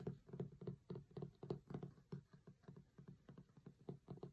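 Fingertips and short nails tap rapidly on the printed cover photo of a closed hardcover cookbook with a linen cloth cover, lying flat. About 23 soft, dull taps land in an uneven rhythm, roughly three to four per second, with a low, muffled body and no bright edge. Each tap dies away almost at once.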